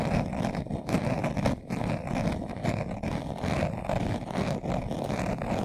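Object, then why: Leather-covered glasses case. A hand-sized, hollow, closed glasses case covered in brown leather is held in both hands while its surface is scratched fast with short nails and fingertips. The result is a dense, continuous run of rough scraping, full and low in body with little bright edge, pulsing with small rises and dips as the strokes overlap.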